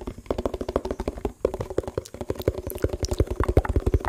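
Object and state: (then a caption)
Empty plastic tub. Fingertips tap the bottom and sides of a hollow, empty yellow printed plastic food tub held close to the mic. The result is a quick, uneven patter of soft, low, hollow thuds, each dying away almost at once.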